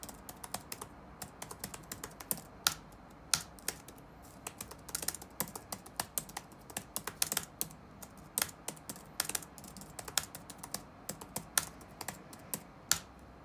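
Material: Plastic.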